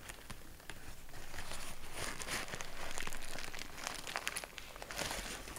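A large sheet of grey kraft packing paper is crumpled and rubbed between both hands. It makes a dense, continuous crinkling and crackling with bright, sharp snaps over a soft rustle, building to its loudest near the middle and continuing steadily to the end.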